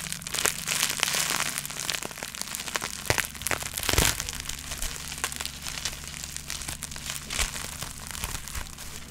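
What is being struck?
Plastic bubble wrap sheet.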